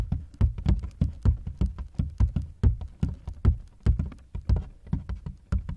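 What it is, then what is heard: Hard plastic suitcase. Fingertips tap and knock on the ribbed side panels of a large, black, hollow hard-shell plastic suitcase that is partly unzipped, heard from inside the case. A quick, uneven run of about thirty short, deep, hollow thumps with soft clicky tops, each dying away almost at once.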